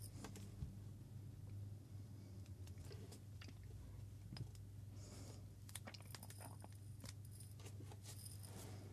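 A labeled Moccona glass coffee jar with a metal lid, filled with coffee beans, is held and shaken by hand while a second jar sits idle on the table. Bright, scattered clicks and rattles of beans striking the glass come in quick, uneven bursts over a steady low hum.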